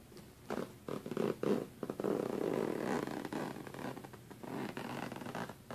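A hand pulls the metal zipper slider along the center seam of a black fabric suitcase, zipping it. A series of short rasping bursts builds into longer, steadier zipping runs, with a dry midrange texture that fades out at the end.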